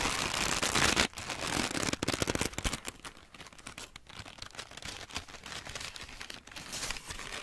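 A large, crumpled sheet of thin grey-white wrapping paper is squeezed and crinkled in the hands by fingertips with long nails. A loud, bright burst of crackling opens the clip, then gives way to quieter, steady crinkling and rustling. The crisp snaps die away almost instantly.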